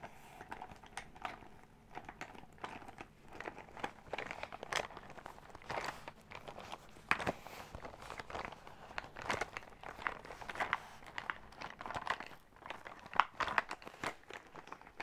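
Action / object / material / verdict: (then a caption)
scrape / faux leather zip pouch / faux leather / none. A silver metallic faux-leather zip makeup pouch, soft and filled, is scratched and tapped with long acrylic nails. The result is a steady run of quiet, crinkly scratches and short clicking taps, mostly in the mid range.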